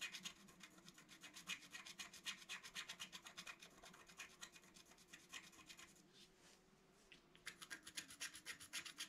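A wooden stylus scrapes a flat, black-coated scratch art card held flat by hand, removing the coating in quick repeated strokes about four per second. Each stroke gives a dry, bright, raspy scratch with almost no low end. The strokes soften and thin out for about a second and a half near the six-second mark, then resume at full strength.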